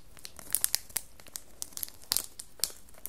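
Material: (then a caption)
Plastic film. A small red cardboard soap box wrapped in cellophane film is turned in the hands while long nails scratch and crinkle the plastic wrapping. The result is a quiet, irregular run of sharp, bright crinkles and scratchy ticks, with louder snaps standing out among the softer rustling.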